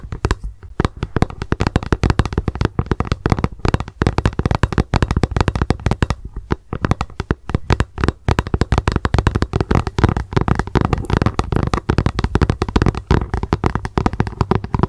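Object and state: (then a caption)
Plastic lunch box tapped with fingernails. Long acrylic nail tips tap fast on a hollow, translucent plastic lunch box turned upside down on a towel. The result is a dense, continuous stream of quick, dry clicks with a hollow low thump under each one. The clicks stop almost instantly with very little ring.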